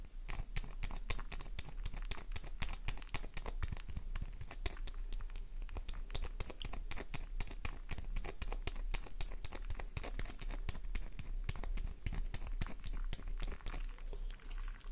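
A solid pink soap bar held in the palm is scratched with long nails, scattering shavings. A rapid, continuous stream of dry crackling scratches and crunchy, tearing clicks runs throughout at a steady level over a low rumble.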